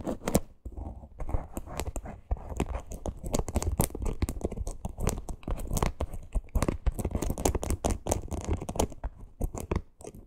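Long green nails scratch quickly across a small teal faux leather crossbody purse with a stitched parrot appliqué. The result is a dense, continuous run of rough, crackling scrapes with brief sharp bursts. The sound has a heavy low rumble and little bright edge.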